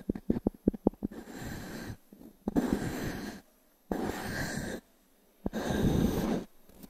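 A small wooden cube is tapped in a quick run of sharp, dry knocks on a solid, round natural pine log-slice coaster held in the palm, with fingertips working the cube. It is then rubbed across the wood surface in four sustained, breathy scraping passes separated by brief silences. Each rub has a low, grainy body and a faint bright hiss, and the taps end with almost no ring.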